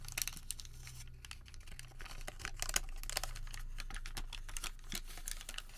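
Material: Paper.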